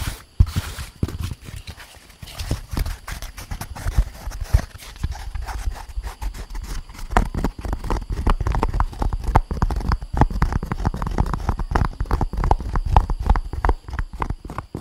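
An empty, lightweight, hollow molded grey-beige paper pulp egg tray is tapped with long painted nails. Quick, dull, dry taps fall in a steady, dense patter, heavy in low frequencies, with almost no ring after each hit.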